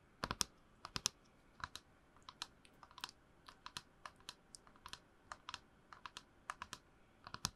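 A tall, hollow, printed plastic movie promo tumbler is held close to the microphone and tapped and scratched with long nails. About 26 sharp, dry, bright clicks come at an uneven pace, each dying away almost instantly, with little low end beneath them.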